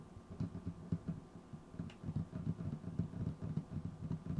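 Fingertips of both hands tap and scratch a large, solid wooden tabletop near the base of a microphone. A quick, uneven run of dull, low thuds dies away almost instantly, with faint scratching between the taps.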